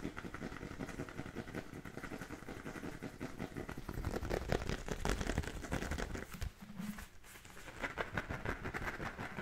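Fingernails scratch the pebbled panels and laces of an inflated, brown Wilson-style composite-leather football held in both hands. The result is a dense stream of quick, dry, rasping scrapes that is heavy in the low end. The scraping grows louder around the middle, drops briefly with a faint low hum, then picks back up.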